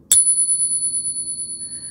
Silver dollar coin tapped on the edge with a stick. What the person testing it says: you will see that it is indeed genuine silver